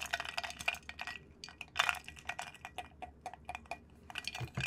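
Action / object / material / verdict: scrape / glass jar of water stirred with a wooden stick / glass / none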